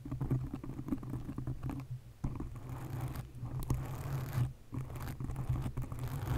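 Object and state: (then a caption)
Foam microphone windscreen. Long nails scratch the top of a black foam windscreen on a condenser microphone. The result is a close, muffled, bassy scratching and rustling patter with a steady low hum, broken by brief quieter gaps.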